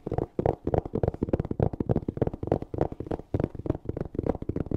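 Long nails rapidly scratch and tap a closed, hollow black hard-shell EVA zipper case covered in fabric, held close to the mic. The result is a fast, uneven stream of dull, muffled knocks and scrapes with a low, hollow body that stops almost instantly after each touch.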